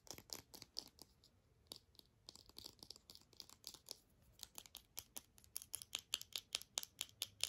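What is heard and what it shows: A small white hard plastic earbud charging case with a solid feel is tapped and scratched with long nails. About 38 short, crisp clicks and scrapes come at an uneven pace, quiet and almost entirely high-pitched, each dying away at once.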